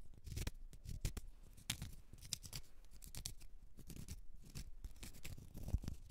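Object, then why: Small round cork stopper. Long red nails scratch the face and side of a small, solid, round cork stopper. A series of quick, dry, raspy scrapes with bright, hissy edges comes over a low, dull rumble. The strokes are short and stop almost at once, with no ringing after them.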